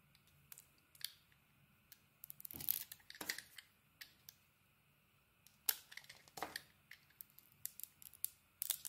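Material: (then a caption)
Soap. A utility blade scrapes and carves the surface of a solid, hand-sized white bar of soap with pink dots. Quiet, bright, crisp ticks and clicks are scattered throughout, broken by a few longer rasping scrapes. There is almost no low end, and each stroke stops dead with no ring.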